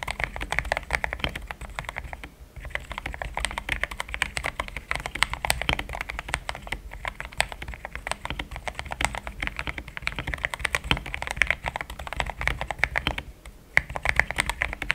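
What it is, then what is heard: Mechanical keyboard with plastic keycaps. A pink-framed compact mechanical keyboard with thick cream XDA plastic keycaps, a polycarbonate plate, linear switches and a hollow case is typed on with fingertips in steady taps. Rapid, short clacky keystrokes come in a continuous stream with a bright, clicky character. The typing pauses briefly at about 2.5 and 13.5 seconds.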